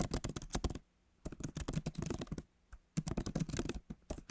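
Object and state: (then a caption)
Laptop keyboard with plastic keys. Fingertips of both hands type on the backlit keyboard of a MacBook Pro, its plastic keys set in a solid aluminum body. Quick, soft, low-pitched tapping clicks come in three rapid bursts separated by two brief pauses, each keystroke dying away almost instantly.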